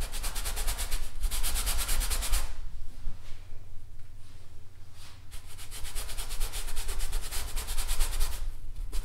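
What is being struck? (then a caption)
Stretched fabric painting canvas on a wooden frame. A thin paintbrush rubs a large stretched painted canvas, taut fabric over a wooden frame on an easel, in short strokes. Rapid, bright scratchy strokes come in bursts, fade to a quieter stretch in the middle, then pick up again, all over a steady low hum.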